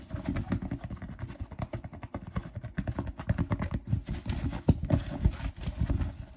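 A purple and teal fabric snapback baseball cap with a stiff brim is held up and scratched and tapped with fingertips and nails. Quick, irregular soft thumps and rough scratching sounds run together, mostly low and muffled with very short decay, with a few sharper taps standing out.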